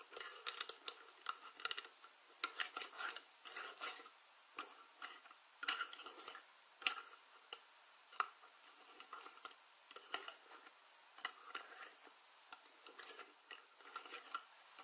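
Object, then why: Ridged plastic screw lid on a small glass jar. Long painted nails scratch and twist the ridged edge of a white ridged plastic screw lid on a small glass jar of dried herbs, held on a fabric surface. Quiet, bright, dry ticking clicks and scratches come in irregular clustered bursts, each dying away almost instantly, with no low end.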